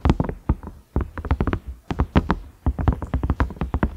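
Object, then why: Silicone microwave lid. Fingertips and nails tap across the ridges and round knob of a large cream ridged lid, likely a silicone microwave lid. Quick, dull taps with a low thud and short bright clicks come in uneven bursts, each dying away almost at once.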